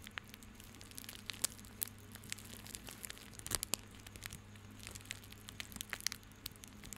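A small coiled bundle of white plastic rope is held in both hands while fingertips rub and squeeze it. The result is quiet, bright, irregular crinkling with many sharp, short crackles over a faint steady low hum.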